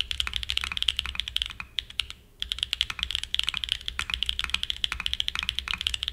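Fingertips type continuously on a Frog mini, a small 60% mechanical keyboard with a black aluminum case and white and grey plastic keycaps, resting on a desk mat. Rapid, bright, clacky key presses center around 3 kHz, each dying away almost instantly, with a brief pause near the two-second mark before the typing resumes.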